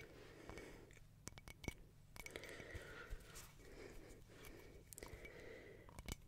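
A small round, hollow mosaic glass tea-light holder with black and white glass tiles and a white rim is held in both hands while long painted nails tap and scratch across its surface. Sharp, bright clicks stand out over a soft, steady scratching hiss and a low background rumble.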